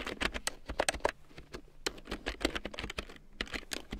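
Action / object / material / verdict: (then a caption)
tap / plastic computer keyboard / plastic / none. Fingertips with long painted nails type on a black plastic computer keyboard with large yellow plastic keycaps printed in black, lying on a fur rug. A quick, uneven run of sharp, clicky keystrokes comes through, each brief, bright and dry with almost no ring.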